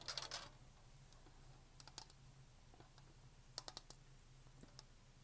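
Long painted fingernails tap and click on a black Blender Bottle shaker bottle with a hollow plastic body, black lid and clip, held sideways in both hands. A quick burst of sharp, bright plastic clicks opens the clip, followed by sparse, scattered taps that die out instantly over a faint, steady low hum.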